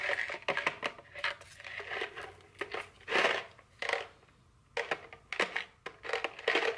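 Long fingernails tap and scratch a small printed cardboard chocolate candy box, likely full, held in the hand. Quick, dry tapping clicks mix with longer scraping strokes that brighten into a crinkly hiss. Everything stays close and papery, with no low end and almost no ring.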